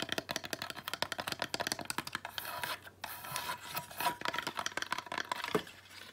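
A small driftwood stick ornament is held in the hands while long nails tap and scratch its dry, weathered wood. Rapid, crisp clicking taps give way to a dry, bright scraping in the middle, then the quick tapping returns, with each tap dying away almost instantly.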